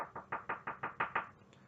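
A wooden surface is knocked by hand eight times in quick, steady succession for the "knock on wood" superstition. Each knock is a short, dry, mid-pitched rap centered near 900 Hz that dies away almost immediately, the last two slightly louder, before the clip ends in quiet.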